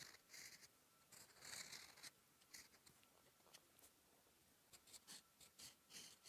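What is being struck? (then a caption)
Thin lined writing paper under a steel fountain pen nib. A steel fountain pen nib scratches strokes of Korean letters onto a sheet of thin lined writing paper lying flat. The quiet, bright, scratchy strokes come in short bursts with brief pauses between them, and each fades quickly.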